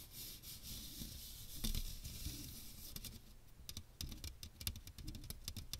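Fingernails tap and scratch the fine metal mesh dome of a small strainer with a teal plastic rim, held over the microphone. A bright, hissy scraping fills the first half over a low rumble, then gives way to quick, crisp clicking taps that stop short with almost no ring.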